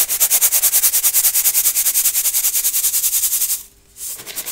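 Crunchy baking soda pieces are sifted and rubbed through a gold brass mesh sieve held over a clear bowl. The result is a steady, rapid rhythm of bright, crunchy scraping strokes. The strokes break off for a brief pause near the end, then start again more softly.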